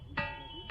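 A ringing boulder is struck lower down and further in at a spot that gives a glass-like tone. Two sharp strikes, about half a second apart, each sustain a bright, bell-like ring centred near 2.6 kHz with steady overtones.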